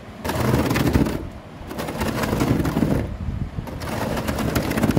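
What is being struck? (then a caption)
Woven plastic wicker table top. Long nails tap and scratch across the grey woven plastic wicker of a synthetic rattan table top. The sound is a dense, rough rustling rattle in three sustained bursts, separated by brief quieter pauses, with most of its weight in the low and middle range.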